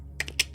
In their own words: When shaking or tapping the mouse, there is no rattling whatsoever.